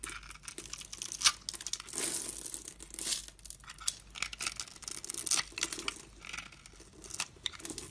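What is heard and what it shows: A metal utility-knife blade scrapes across the pre-scored surface of a solid pink bar soap held in the hand, crumbling off many small cubes. The sound is a dry, bright crackling and crunching made of rapid short scrapes, with a few sharper snaps and almost no low end.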